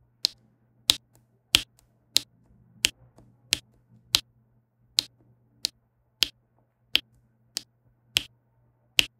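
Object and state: Resin diamond painting canvas.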